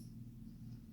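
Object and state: Nothing is struck.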